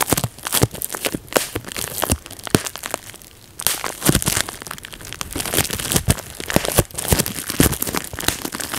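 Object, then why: Plastic bubble wrap sheet. A large clear plastic bubble wrap sheet lying on a lap is popped bubble by bubble with the fingertips. Many sharp, dry pops and crackles ring out in quick bursts, with a brief quieter pause partway through.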